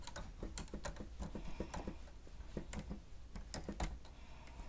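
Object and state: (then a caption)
Plastic stenotype keyboard being typed. The grey plastic keys of a stenotype machine keyboard are pressed rapidly by the fingertips of both hands. The result is a continuous stream of soft, quiet typing taps with a low thud under each press and occasional bright clicks.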